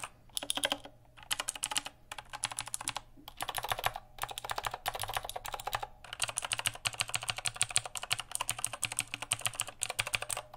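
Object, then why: Plastic mechanical keyboard. Fingertips type and tap fast on a full-size backlit mechanical keyboard with plastic keycaps. The bright, clicky keystrokes come in rapid bursts separated by short pauses, with each key's sound dying away almost instantly.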